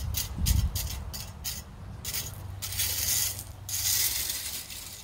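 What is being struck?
Loose river pebbles raked with a metal rake.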